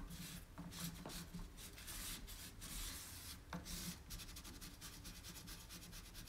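A cloth rubs and wipes the inside and carved lattice centre of an empty, round, shallow, white-painted distressed wooden tray while one hand steadies its rim. The result is a steady run of soft, raspy friction strokes with bright, airy swishes over a low, quiet undertone.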